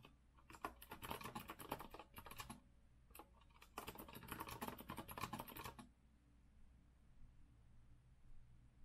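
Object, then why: Metal-framed mechanical keyboard with round plastic keycaps. Steady fingertip typing with both hands on a compact retro Azio mechanical keyboard with a rose-gold metal frame and round plastic keycaps, resting on a wooden desk. Two bursts of rapid, bright clicky keystrokes are separated by a brief pause, then the typing stops, leaving a quiet low hum for the last few seconds.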